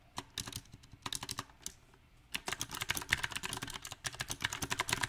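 Fingertips type on a backlit compact mechanical keyboard with round typewriter-style plastic keycaps on a silver metal frame. Bright, short key clicks come in uneven bursts with a brief pause near the middle, then a faster, denser run of taps to the end.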